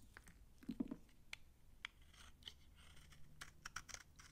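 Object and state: Dry old bar soap.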